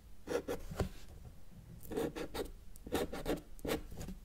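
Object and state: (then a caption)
Marker drawing on paper. A felt-tip marker held in the fingers makes strokes across a flat white paper sheet lying on a table's solid surface, drawing mountains. Short, dry scratchy swipes come in bursts with a mid-range squeak-like tone and faint low thumps from the table between them.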